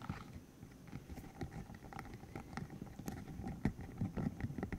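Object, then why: Hollow silicone tube with rubbery spikes. A green hollow silicone cylinder about 15 cm long with rubbery spikes is held in the hands while its spikes are flicked, squeezed and rubbed with the fingertips. Soft, dull rubbery taps and squishes come in an irregular stream over a faint hiss, mostly low in pitch with brief brighter clicks.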